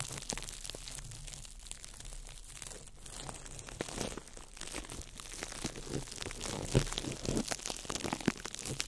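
A small ball of crumpled clear plastic wrap is crinkled by fingertips over the mic. It makes a dense, continuous run of sharp, bright crackles and snaps over a steady low rumble, growing a little louder and busier in the second half.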